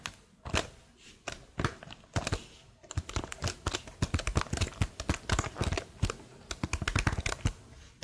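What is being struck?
Plastic laptop keyboard keys.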